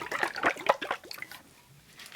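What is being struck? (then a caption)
Small bottle of thin liquid facial essence. An 8.5-ounce bottle of clear, serum-like rebalancing facial essence is shaken, and the liquid sloshes inside in a quick series of wet splashes. The sloshing is loudest in the first second and then fades to faint trickling, with a brief return near the end.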